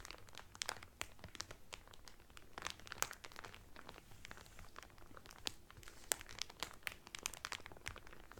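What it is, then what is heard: Cellophane wrap crinkled over a towel. Fingertips with medium painted nails press and crinkle the loose, thin clear cellophane sealed around a folded blue terry Carnival towel lying flat on a table. The result is a steady stream of dense, bright crackles and sharp crinkling snaps, with a few louder pops standing out, at a quiet overall level.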